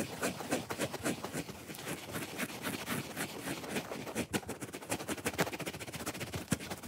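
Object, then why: Hand-sized foam sponge. Long fingernails scratch quickly and roughly across the red top and side of a solid, hand-sized, watermelon-shaped foam sponge held in the hand. The result is a dense, irregular stream of dry, bright scratching strokes with brief rustling bursts and no ringing.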